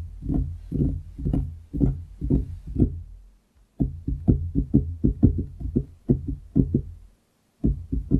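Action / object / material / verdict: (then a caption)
tap / wooden desktop / wood / none. Fingertips of both hands tap on a large solid wooden desktop close to the microphone. About 25 dull, low, knocking thuds with almost no brightness and very short decay come in loose, uneven bursts, separated by brief silent pauses.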